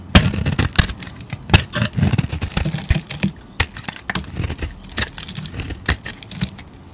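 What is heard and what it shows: A solid green, hand-sized soap bar is carved and scraped with a metal utility blade while held with long teal nails. Irregular crisp scrapes and bright crackling clicks, some sharp and loud, sit over a soft low rumble. The pattern stops and starts without a steady rhythm.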